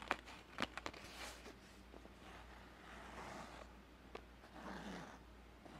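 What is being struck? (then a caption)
Felt-covered rigid zip case. Fingertips and nails tap and scratch a closed, hollow, palm-sized rigid zip case covered in grey felt. Sharp, dry taps with almost no ring alternate with soft, hissy scratching swells over a steady low hum, all at a quiet level.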